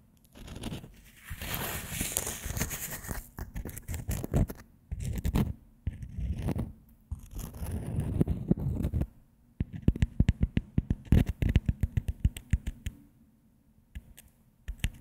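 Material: Baked dough.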